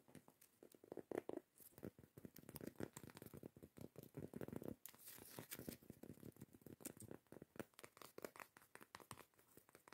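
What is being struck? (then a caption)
Cork coaster lid. Long acrylic nails scratch quickly across the grainy surface of a round, solid cork coaster lid held in the hands. The result is a quiet, dense run of dry, crackly scratches and rustles with short bursts of texture, mostly in the low-to-mid range.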